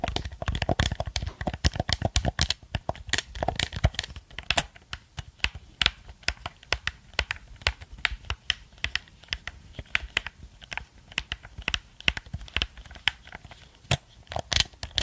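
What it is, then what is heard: Plastic game controller. A black plastic gamepad held close to the microphone has its buttons clicked and its casing tapped with fingertips and nails. The result is a steady, irregular stream of sharp, bright plastic clicks and taps, each dying away almost instantly, with soft low thumps underneath. The tapping is densest and loudest in the first few seconds.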